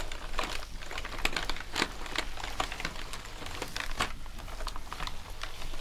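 Gloved hands scrub and press sponges over the keycaps of a black plastic gaming keyboard lying on a desk. The keys give off a steady run of quick, light clicks mixed with soft rubbing and crinkling, with a low hum underneath.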